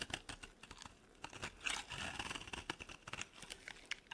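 A utility knife blade carves a dry, solid green soap bar, scraping and cutting it in a quick run of short, crisp crunches. The sound is bright and crackly, with a faint ringing tone around 2.6 kHz, almost no low end, and each stroke dying out almost instantly.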